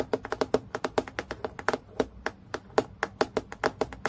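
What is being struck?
Acrylic plastic clipboard.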